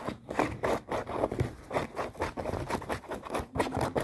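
Long painted nails scratch quickly over folded, light acid-wash denim jeans with pockets and seams, held up close. A rapid run of short, rough scraping strokes rises and falls in loudness, with a mostly midrange, dry texture and little bright content.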